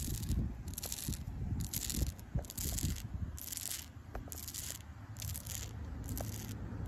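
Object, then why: Tree trunk bark. Fingertips and long pink acrylic nails scratch and rub the rough bark of a solid tree trunk. Bursts of bright, hissy scraping come and go over a low, rumbling background, with small sharp crackles along the way.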